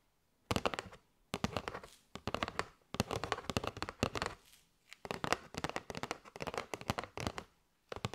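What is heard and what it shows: Long nails tap on a kraft cardboard box with a window, full of paper straws. Quick bursts of sharp, dry, clicky taps with a bright papery edge come in rapid flurries separated by short pauses, each tap dying away almost instantly.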